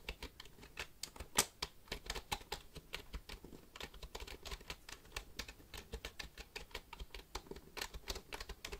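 A black plastic computer keyboard held vertically beside the mic is tapped by fingertips on the keys, producing around forty quick, dry, bright clicks in an uneven patter. Each click dies away almost instantly, with a soft low thump under the sharp tap and one louder click near the start.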